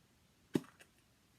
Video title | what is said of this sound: Easter Message: Resurrection Eggs! | if you shake it you don't hear anything